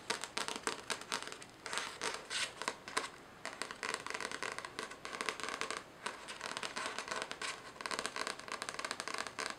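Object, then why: Paperback book with a paper cover. Long nails scratch and tap the paper cover and page edges of a solid paperback novel. The result is a dense run of crisp, dry scratches and light taps, bright and papery with almost no low end, each tap dying away almost instantly.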